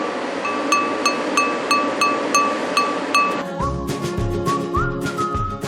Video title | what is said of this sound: 극한직업 - Extreme JOB_맛을 돋운다! 뚝배기와 압력솥_#002 | 이렇게 때려봤을 때 맑은 소리가 나는 거예요